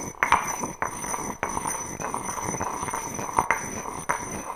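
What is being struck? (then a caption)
Granite mortar and pestle. A granite pestle taps and knocks inside an empty granite mortar, making a series of sharp clinking hits. Each strike gives a short, bright stone clink centered near 950 Hz that dies away quickly, with soft scraping between hits over a faint, steady high-pitched hum.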